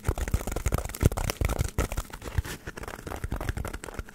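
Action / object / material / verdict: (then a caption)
scrape / polystyrene foam block / polystyrene foam / none. Long nails scratch a solid, hand-sized white polystyrene foam block held close to the mic. The result is a dense, irregular run of dry, crinkly scratches and squeaks with short, muffled low thumps and no ring.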